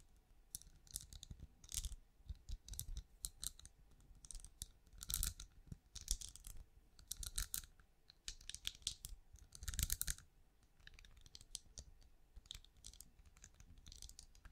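Long nails tap rapidly on a small, hollow, glowing night lamp with a ridged translucent plastic shell held in one hand. The result is a quiet, continuous run of crisp, bright clicks and light scratchy scrapes in uneven bursts, each dying away almost instantly, over a low thudding undertone.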